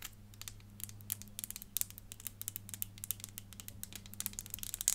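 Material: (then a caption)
Plastic. Long fingernails tap across the body of a small, hollow, clear plastic 3D crystal elephant puzzle. A quick, irregular stream of light, bright clicks rises over a quiet, steady low hum. Each tap stops almost at once with no ring.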